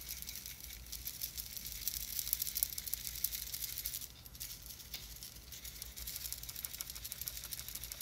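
A small clear plastic jar with a white lid, filled with glitter, is held in one hand and shaken and tilted so the glitter rattles inside. The sound is a soft, bright, hissy patter of fine particles, mostly high with little low end. It eases to a quieter trickle around the middle before the rattling picks up again.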